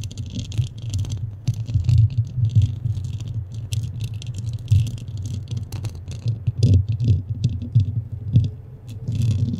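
Long nails scratch quickly over the top and sides of a black foam windscreen on a microphone, with a hollow head underneath. The result is a dense, continuous rustle: a heavy low rumble and thumping around 110 Hz, with bright, crackly scratches flickering on top.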